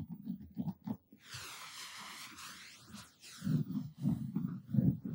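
Short fingertips and nails scratch and rub the looped pile of a purple textured cotton terry towel draped over a padded object, using both hands. Soft, low, rumbly scratching bursts bracket a smoother middle stretch of airy, sweeping hiss that rises and falls in brightness.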